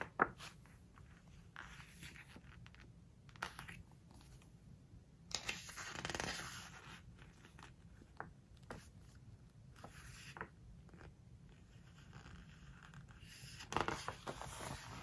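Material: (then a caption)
Coated paper. A flat palm and long-nailed fingertips rub, press and scratch the glossy coated paper of a large open hardcover home decoration book, handling the page edge while the same spread stays open. Soft brushing and crinkly scraping rise and fall over a quiet background, with brief bright scratches and sharper crackling swells near 6 and 14 seconds.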